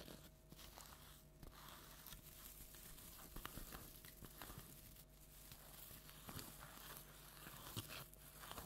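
A large orange plastic tinsel jack-o'-lantern decoration is scratched with long nails. The result is a soft, continuous crinkling and rustling with bright, papery texture and scattered small clicks and snaps over a low background hum.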